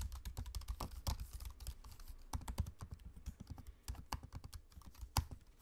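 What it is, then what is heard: Laptop keyboard with plastic keys. Fingertips type on a MacBook-style laptop keyboard with low-profile plastic keycaps set in a space-grey aluminium body. A quick, uneven run of soft, dull key taps is heard, each click short and dry with a low thud and little high-end brightness, with a few sharper, louder strikes standing out near the middle and end.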